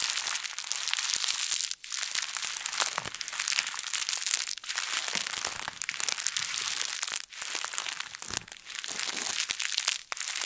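A translucent, thin plastic bag is bunched up, squeezed and twisted by both hands. It makes a steady, bright, crisp crinkling and crackling with almost no low end, broken by a few brief pauses.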